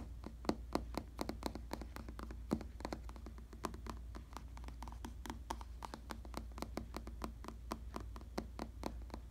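Fingertips tap and scratch the top of a black vinyl or faux leather padded bicycle saddle. A rapid, uneven series of short, dry taps with brief bright clicks rides over a steady low hum throughout. The sound stays quiet, and each tap dies away almost at once.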